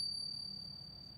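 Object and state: Genuine .999 silver coin, long ring.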